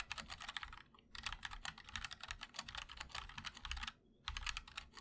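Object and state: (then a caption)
Mechanical keyboard with ABS keycaps. Fingertips of both hands type continuously on a 60% MOD-L mechanical keyboard with linear switches, white and black ABS keycaps, and a black aluminum case. A rapid stream of bright, short clacks and thocks is heard, broken by brief pauses near the first and fourth seconds.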